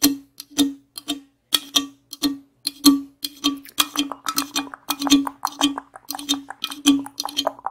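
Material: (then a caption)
Aluminum. The top and rim of an aluminum Monster energy drink can are tapped with the tips of long acrylic nails. Quick, bright metallic clicks ring briefly with a low hollow tone, sparse at first and then coming faster and overlapping into an uneven patter.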